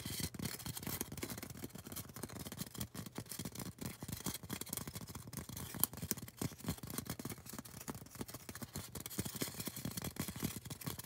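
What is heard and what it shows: A tall, solid white polystyrene foam cone is scratched and tapped with long orange acrylic nails. The result is a dense, continuous run of quick dry scratches and soft taps, with a low body and a bright, hissy top.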